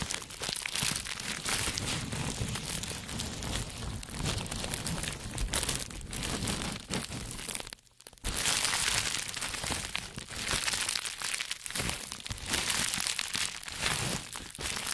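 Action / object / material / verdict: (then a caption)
scrape / plastic bubble wrap sheet / plastic / none. A large bundled sheet of green plastic bubble wrap is pressed, crinkled and scratched with the fingertips of both hands. Dense, bright crinkling and crackling runs almost continuously, with a brief quiet gap around the eight-second mark before it resumes.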